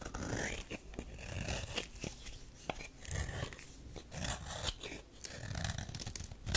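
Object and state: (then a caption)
Soap bar being scraped. A metal knife scrapes and cuts shavings from the surface of a solid tan bar of soap. Close, dry scraping and crisp shaving sounds come in uneven bursts, with short sharp clicks and a low rumble beneath.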